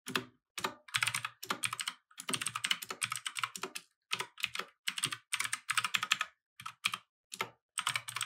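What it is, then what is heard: Plastic mechanical keyboard. Fingertips type continuously on a compact mechanical keyboard with plastic keycaps resting on a wooden desk. Rapid bursts of bright, clacky keystrokes are separated by brief pauses, and each click is dry and dies away almost instantly.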